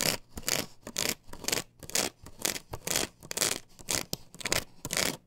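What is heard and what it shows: Long fingernails scratch and scrape across a plastic stencil template glued to a wooden board held upright. Bright, hissy scraping strokes come in quick, uneven bursts of about two per second, some harsh and loud, others softer, with brief quiet gaps between them.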